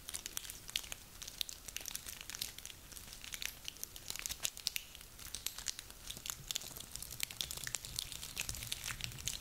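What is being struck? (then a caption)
Small pine cones. Hands squeeze and rub a handful of small, dry, woody pine cones. It makes a quiet, steady stream of dry crackling and crinkling with many sharp, bright clicks and crunches and almost no low end.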